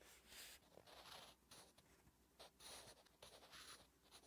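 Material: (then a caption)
Paper. A wooden graphite pencil writes Korean letters on a flat, solid lined paper notebook page, making bright, scratchy strokes. The strokes come in short bursts separated by brief pauses, with most of the sound in the high range and little low end.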